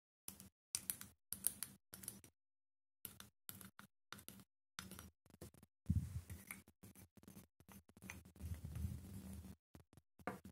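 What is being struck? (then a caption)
Small glass cosmetic bottle with plastic cap. A small clear glass bottle of W7 Night Glow liquid highlighter, with a white plastic cap and pink liquid inside, is held in the hand and tapped on the glass with the fingernails. Quiet, dry clicking taps come in short bursts separated by brief silences. A denser, more continuous run of tapping with a soft low thud follows near the middle.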